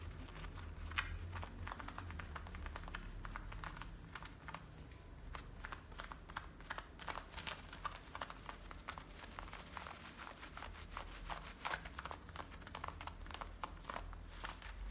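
Fingertips and medium painted nails scratch worn blue denim jeans with a frayed waistband, working at the waistband and beside the metal zipper. Quick, dry, rasping strokes come in a dense, steady run, crisp and bright, over a constant low rumble underneath.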